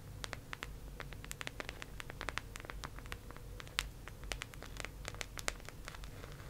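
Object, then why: Round plastic case. Long acrylic nails quickly tap and scratch a teal, round, hollow plastic disc case held close up. Rapid, sharp, bright clicks rise over soft scratching and a steady low hum.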